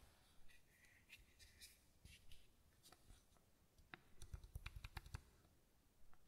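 A small matte white bottle that looks plastic is held in one hand while a fingertip and nail tap its square cap and shoulder. Quiet, dry clicks come in scattered light taps, then a quicker cluster of sharper taps near the end. Each tap pairs a soft low thud with a bright tick and dies instantly, over a faint steady hiss.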